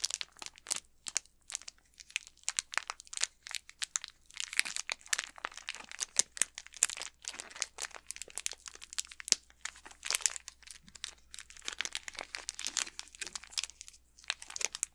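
An unopened Snickers candy bar in its plastic wrapper is held in both hands while fingertips and nails crinkle and rub the wrapper. Dense, bright crackling comes in quick bursts throughout, with little low end and very short decay.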